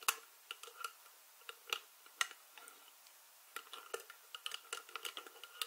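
Long nails scratch and twist the white ridged plastic lid rim of a small glass jar full of dried herbs. About nineteen quick, bright, dry ticks and scrapes come at an irregular pace, each stopping almost at once with no ring, over a quiet background.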